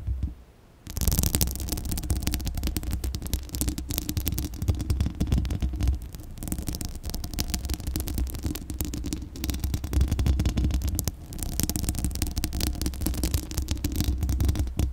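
Long acrylic nails scratch the bare, hollow steel mesh grille of a large condenser microphone. After a brief near-silent moment, a continuous dense, crackly scratching begins, heavy with a deep, boomy low rumble and a thin bright hiss. It runs steadily to the end with small swells in loudness.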